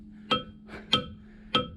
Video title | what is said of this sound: Fat Mountain Bike vs Dirt Bike Trails - Fat Biking To Ringing Rocks, Pipestone, Montana | that sounds like a cowbell